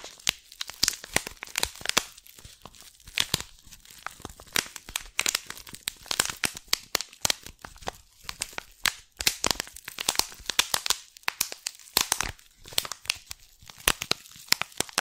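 Long painted nails scratch and crinkle the cellophane wrap on a small green "Lemon & Lime Twist" tea box held in one hand. A dense run of sharp, bright crackles and crinkling snaps comes in quick irregular bursts across the whole clip, with almost no low end. Each snap stops dead with no ring.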